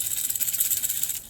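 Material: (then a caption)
Plastic. A plastic Bill Lewis Rat-L-Trap lipless crankbait lure is shaken, and its internal rattle makes a rapid, continuous, bright clicking with almost no low end. The rattle is distinct and loud, which is one reason the lure is liked, before it tapers off at the end.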